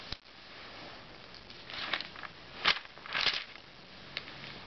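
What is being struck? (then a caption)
Glossy paper magazine pages. Fingertips rub the page edges of an open glossy *Self* magazine and flip its thin pages over. Soft, bright crackling rustles are heard, rising into a few louder papery swishes as the pages turn. Quiet hiss fills the gaps between them.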